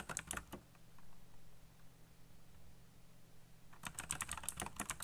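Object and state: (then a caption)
Plastic mechanical keyboard. Fingertips type fast on a colorful backlit mechanical keyboard with black plastic keycaps, giving a quick burst of sharp, bright clacks. A quiet pause with a faint low hum follows before another rapid run of clicky keystrokes.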